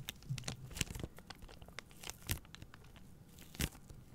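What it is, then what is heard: Plastic-wrapped pack of paper towel rolls. Long painted nails scratch and squeeze the thin, crinkly plastic film around a pack of three soft, hollow-cored white paper towel rolls held upright in both hands. Quiet, dry crinkling and tearing-like scratches run throughout, with a few sharper, brighter crackles standing out above a low, muffled rustle.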